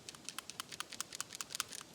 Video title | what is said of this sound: How To Do A Simple Tune Up on Your Car or Truck | when you shake it you'll hear that ball valve and they're moving and it has to move freely